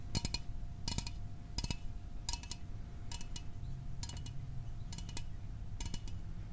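A small aluminum soda can is tapped in quick bursts of light, clicking taps, one burst roughly every second. Each tap is a short, bright metallic tick that dies away almost instantly, over a steady low rumble in the background.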